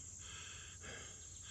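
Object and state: Nothing is struck.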